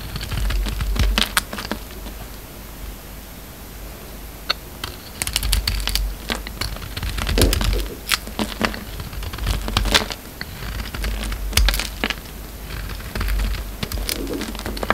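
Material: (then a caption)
Soap. A hand-held, solid maroon embossed soap bar with a white core is carved and scraped with a utility knife blade. Bursts of crisp, bright scraping and clicky cutting sounds come in irregular clusters over a steady low hum, with short pauses in between.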